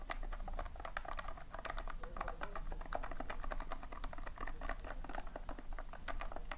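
Fingertips and long nails scratch and rake across the surface of a tin filled with loose, colored polystyrene foam beads. The result is a steady stream of dense, dry crackling ticks and clicks with a low rumbling undertone, at an even, moderate level throughout.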